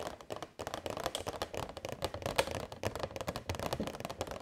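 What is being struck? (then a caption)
Clear plastic box. A hollow, transparent rectangular plastic box holding a string of purple LED fairy lights is held in both hands and tapped with long white nails. Rapid, uneven clicky taps tumble over one another, each with a short, hollow plastic knock around 550 Hz and a bright edge. The taps die away almost instantly.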